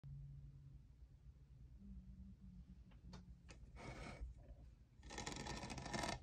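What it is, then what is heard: Plastic studded tumbler. Fingertips and nails tap the textured, studded side of a tall, hollow, lavender iridescent plastic Starbucks jeweled tumbler with a lid and straw, which appears empty. Sharp, light clicks come in an uneven rhythm over a low background hum. The clicks build into a denser, brighter burst of rapid scratchy tapping near the end.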